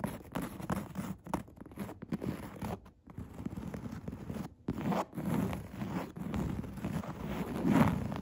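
Long red nails scratch and tap across a padded chair seat covered in coarse woven upholstery. The result is a dense, raspy scratching with soft, dull taps mixed in, mostly low-mid in tone with little high brightness, swelling and easing in uneven bursts.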